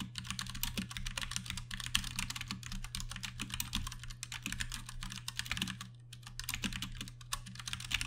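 Fast typing with the fingertips of both hands on a compact 60% Ducky One 2 Mini mechanical keyboard with plastic keycaps and Cherry MX Brown switches. It makes a dense stream of bright, short clacks over a steady low hum, with a brief pause around the six-second mark.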